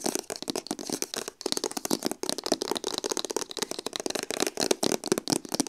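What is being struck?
Printed cardboard box sleeve.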